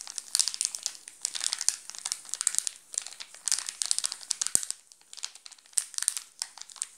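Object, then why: Chocolate bar in plastic film wrapper. A wrapped chocolate bar in a plastic film wrapper is scratched and pinched quickly by fingertips, making it crinkle. Dense bursts of bright, crisp crinkling come in clusters with short pauses between them, and there is almost no low end.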